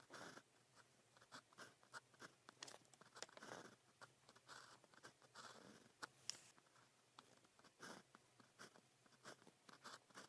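A blue plastic ballpoint pen with a small metal tip, held in the fingers, scratches across thin practice paper printed with a red calligraphy grid while writing Chinese characters. Quiet, bright, dry scratching strokes come in short separate bursts with brief pauses between them, each stopping sharply with no ring.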